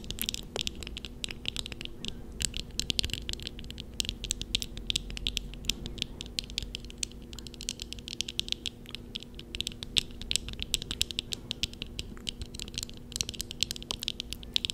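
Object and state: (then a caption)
Plastic and metal eyeglasses. Eyeglasses worn on the face, with a black plastic upper frame and thin metal rims and lenses, are tapped and scratched with long nails of both hands. Dense, rapid clicking and scratching sits mostly in bright high frequencies over a faint steady low hum, with very short, dry taps.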